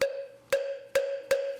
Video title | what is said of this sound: 100년 고목재, 청아한 소리 살구나무로 만드는 목탁 - 리얼다큐 숨 | 좀 강한 소리가 나지요